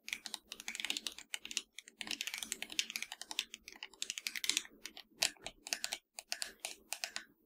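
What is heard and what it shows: Long nails tap and scratch across the touchpad, buttons and shell of a hollow black plastic PS4 controller. Rapid, irregular bursts of bright, dry clicks and scrapes come with very short decay, broken by a few brief pauses.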